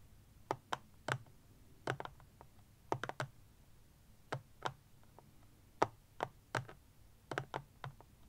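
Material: Plastic.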